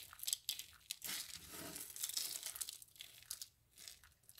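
Hands press, squeeze and rub a pile of dry soap flakes, crushing them together. The sound is a quiet, bright crunching and crinkling made of sharp, quick crackles, with a steadier rustling stretch in the middle before it thins out into scattered faint crunches.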